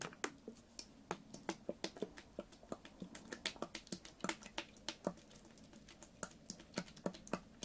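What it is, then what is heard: Plastic water bottle. A full, clear, ribbed PET water bottle with a blue cap is held in one hand and tapped with fingernails. About forty quick, sharp, bright clicks come at an uneven rhythm, each dying away almost at once over a faint low body tone.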